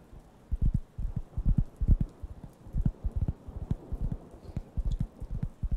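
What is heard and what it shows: A round, flat, thin, solid wooden (cork-like) coaster is held near the microphones and scratched and tapped with fingertips. It makes soft, dull, low thumps in an irregular rhythm, with faint scratchy texture between them and almost no high-frequency content.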